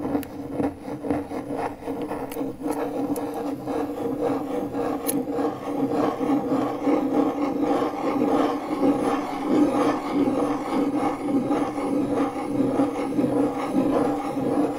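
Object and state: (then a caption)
MDF board scratched with a metal key. The metal tip of a car key, held in the fingers, is dragged in slow circles across a large, flat, pale, solid MDF fiberboard panel. It makes a continuous dry, raspy scratching with a mid-low woody tone and a few brief bright ticks near the start. The scrape stays steady and grows slightly louder as the circling goes on.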